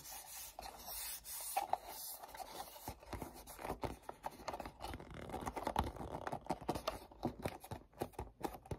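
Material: Cardboard.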